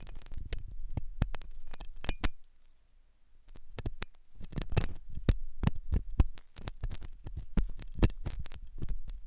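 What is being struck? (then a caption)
Silicone dummy ear scraped by a steel hook. A thin steel dental hook scratches and scrapes inside the ear canal of a white, solid, soft silicone dummy ear on a binaural microphone. The result is a close, deep series of sharp, short clicks and scrapes with a thumping low body. There is a brief quiet gap near the three-second mark before the scraping picks up again.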